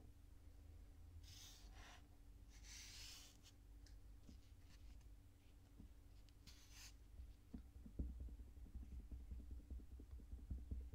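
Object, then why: Kinetic sand pile. Fingertips press into a mound of pink kinetic sand and rub across its surface. Soft, bright swishing strokes come over a faint steady low hum, then give way to small scattered ticks and dull low presses toward the end. The whole clip stays very quiet.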